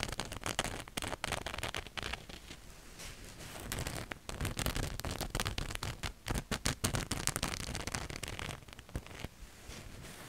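Fingernails scratch a black cotton t-shirt with a ghost print just behind the microphone. Dense, rapid scratchy strokes crackle with a bright fabric hiss and a low rumble, easing off briefly between about 2 and 4 seconds before picking back up into a busier run of scratches.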